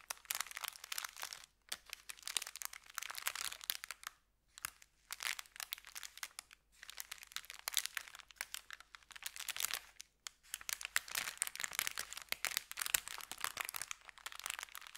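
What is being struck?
Thin kraft paper bag.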